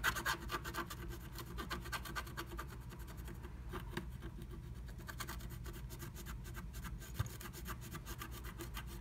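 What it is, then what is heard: Scratch art paper being scratched. A wooden stylus scratches inside a lightning bolt cutout of a blue plastic stencil laid over a flat, black-coated scratch art sheet. Quick, repeated rasping strokes with a bright, scratchy edge run over a steady low hum, strongest at the start, with one sharp tick near the seventh second.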